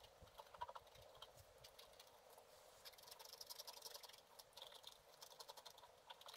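A wooden stylus scratches a black-coated scratch art card lying flat, in short strokes. A quiet, dry, papery scratching comes in a rapid, uneven run of brief, bright strokes with almost no low end. Each stroke stops at once, with no ring.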